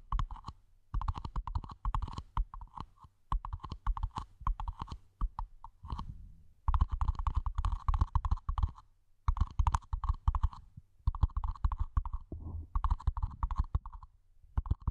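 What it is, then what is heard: Empty plastic mini planter. Fingertips tap rapidly on a small, empty, hollow matte black plastic mini planter pot held over the microphone. The result is bursts of dry, low, hollow thumps with a faint resonant tone, separated by brief pauses, each tap dying away almost instantly.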